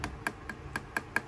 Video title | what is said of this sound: Magic Square MS-02EX Light Of Peace / Transformers G1 Masterpiece Optimus Prime Review | sounds Hollow because this is not very dense plastic